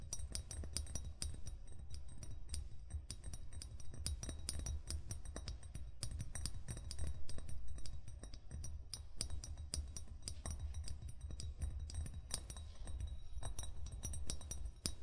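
A hollow amber (brown) glass bottle with a metal cap, lying on its side, is tapped with fingertips and short fingernails in a steady, rapid stream of taps. Each tap gives a soft, low thump around 105 Hz with short, bright glassy clinks on top, and every tap dies away almost at once.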